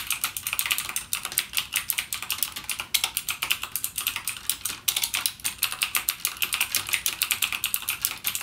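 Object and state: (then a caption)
Plastic mechanical keyboard. Fingertips type continuously and rapidly on a full-size backlit mechanical gaming keyboard with plastic keycaps and clicky Cherry MX Blue switches. A steady stream of sharp, bright clicks and clacks, each very short, carries almost no low end and peaks around 3.3 kHz.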